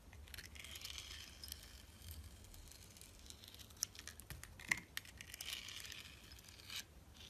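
A utility knife scrapes the purple glitter coating off a solid, translucent orange glycerin soap bar held in the hand. The result is a quiet, continuous run of bright, crackly scraping rasps, broken by a few sharper clicks partway through.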